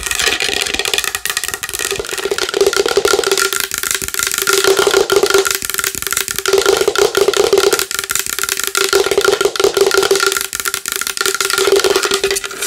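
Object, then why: Large wooden bowl. A large wooden bowl is tapped fast and hard with long nails. The taps blur into a dense, clattering stream of bright clicks over a steady hollow resonance near 400 Hz, with no low rumble. Bursts of heavier tapping come and go throughout.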